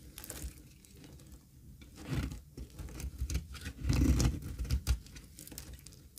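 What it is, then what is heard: Dry soap bar scraped with a blade. A thin, solid bar of dry cream olive oil soap held in the palm is scraped and cut with a metal blade. It gives irregular, dry, crumbly scraping and patter with a low, muffled body, swelling into louder bursts around the middle before easing off.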